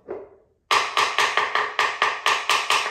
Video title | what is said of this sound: Ceramic Tile To Vinyl Plank Flooring - Updating Our Laundry Room | you hear that one how it kind of sounds Hollow